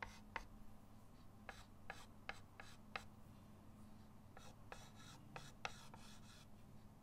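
A white chalk stick held in the fingertips scratches lines across a flat, solid chalkboard in a wooden frame lying on a table. The drawing makes a series of short, dry, bright scrapes and taps over a steady low hum.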